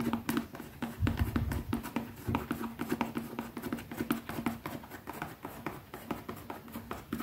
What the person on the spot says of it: Fast tapping on a leather pouch